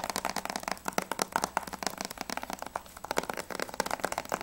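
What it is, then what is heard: Plastic game case. Fingertips and nails tap quickly on the front cover of a hollow plastic Battlefield 3 Limited Edition PS3 game case holding a disc. The result is a fast, uneven run of dry, hollow plastic clicks with a mid-range knock around 900 Hz and bright clicky edges, each tap dying away almost instantly with almost no low end.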